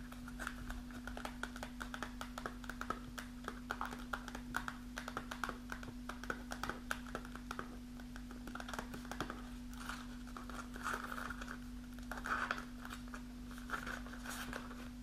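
Long natural nails with pink acrylic polish scratch and crinkle a resealable kraft paper snack pouch with a clear plastic window, held in hand and partly filled with dried mulberries. Dense, rapid taps and scratchy crinkles sound over a steady low hum, with papery rustle bursts swelling in the later part.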